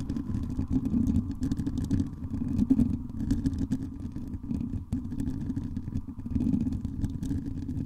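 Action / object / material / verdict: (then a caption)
scrape / metal mesh microphone grille / metal mesh / none. Long acrylic nails scratch and tap a hollow metal mesh microphone dome, and by the end fingertips tap its top. The result is a dense, low rumbling clatter of scrapes and taps with a steady hum near 1 kHz and bright crackles above.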